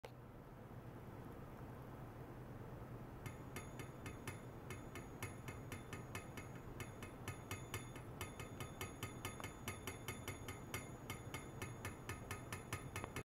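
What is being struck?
Hollow stainless steel pipe.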